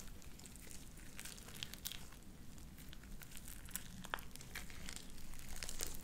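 A handful of light-blue sticky slime with beads is folded and squeezed in the hands, worked with fingertips and long nails. It gives a steady stream of soft, wet squelches and crinkly crackles, with sharp, bright little pops scattered through it. The sound is fairly irregular and grows slightly louder toward the end.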